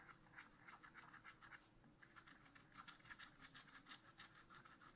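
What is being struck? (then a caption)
Coated scratch art paper scratched with a wooden stylus. A wooden stylus scratches a black-coated scratch art paper sheet in a spiral notebook with repeated back-and-forth strokes. It makes soft, dry, raspy bursts of bright hiss at roughly three strokes per second, with a brief pause near the two-second mark. A faint low hum runs underneath.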